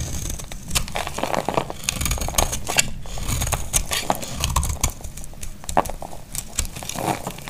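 A solid, dry white bar of soap held in the hand is shaved into flakes with a snap-off blade. Dense, crisp scraping and crackling strokes repeat throughout, with sharp bright clicks over a steady low rumble.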